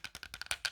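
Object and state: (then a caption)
Light plastic game controller. A light plastic Super Nintendo controller is tapped in a quick, fast series of taps. Each tap gives a short, bright, hollow clack like a wood block, mostly high in pitch, with almost no ring.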